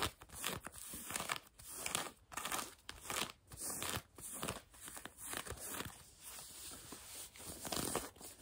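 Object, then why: Denim jeans fabric. Long nails scratch back and forth on blue denim jeans stretched over a bent knee. The result is a dry, bright, rasping scrape in uneven bursts separated by short pauses, with little low end.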